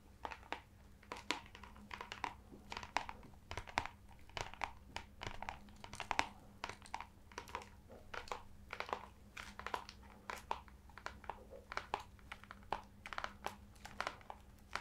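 Fingertips and nails tap and scratch the cover of a brown, embossed, leather-bound (leather-look) hardcover book held in both hands. Quick, dry taps and scratchy strokes repeat throughout, with crisp, bright edges and almost no ring, over a faint steady low hum.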